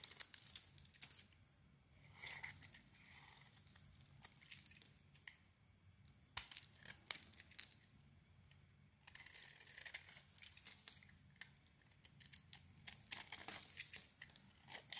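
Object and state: Bar of soap being shaved with a blade.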